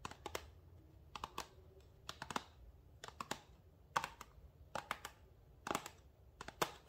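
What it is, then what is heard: Paperboard box. A small printed paperboard box for a rosemary essential oil bottle, hollow with the bottle inside, is held in the hands and rubbed and scratched with fingertips and nails. Quiet, irregular bursts of dry, bright scratching and crisp clicky taps come in short clusters. Each one dies away almost instantly.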